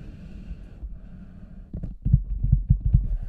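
Fingertips and nails tap and scratch the lower sides of an oversized, hollow red rubber cartoon boot standing empty on a white table, with a microphone inside. A soft, muffled low rumble gives way to a quick, uneven run of deep, hollow thuds with short decays, all heavy in the low end with almost no high sound.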